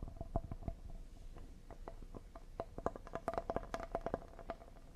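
Fingernails quickly tap and lightly scratch the surface and edges of a solid cedar, paddle-shaped serving board held in both hands. The result is a fast run of short, dry, woody clicks with a faint hollow tone around 680 Hz. The taps cluster more densely and strongly toward the end, with soft scratching between them.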